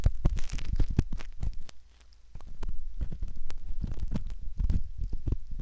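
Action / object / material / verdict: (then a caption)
scrape / silicone ear model with metal ear pick / silicone / none. A metal ear pick scrapes along the canal rim of a soft silicone ear model, making close, muffled rubbing and crackling with many quick scratchy ticks. The sound is deep and dull, almost all low rumble with little brightness, and it eases into a brief quiet lull near the two-second mark before the scraping picks up again.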